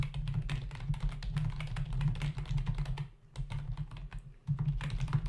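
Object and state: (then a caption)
Plastic computer keyboard. Fingertips of both hands type rapidly on a full-size black plastic membrane keyboard with hollow keys, resting on a dark desk. The result is a dense stream of short, dull plastic clicks and taps over a steady low hum. The typing briefly slows and quiets about two-thirds of the way through, then resumes at full pace.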